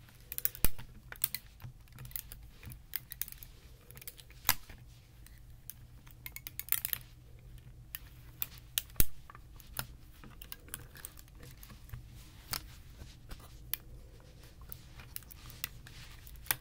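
A flat Rubik's Magic-style folding puzzle made of clear plastic tiles printed with rainbow rings rests on a towel while hands fold and slide its hinged panels. Its panels give a quick run of sharp, dry clicks and taps as they snap together, some louder than others. A steady low hum sits underneath throughout.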